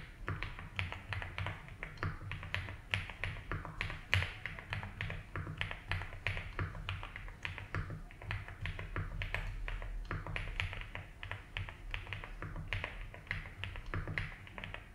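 Both hands type with the fingertips on a compact 75% mechanical keyboard with ABS plastic keycaps and a light blue plastic case, resting on a grey desk mat. A steady stream of short, dry key taps gives bright clacks over soft low thocks, each dying away almost at once. A faint low hum runs underneath throughout.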